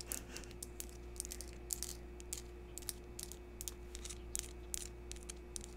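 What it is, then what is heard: Crystal chunk tapped with fingernails. Long pink acrylic nails tap and scratch the rough, faceted surface of a small, solid yellow translucent crystal chunk, citrine- or calcite-like, held in the hands close to the microphone. The quick, dry clicks and scrapes are bright and crisp and die away almost instantly, repeating irregularly over a steady low hum.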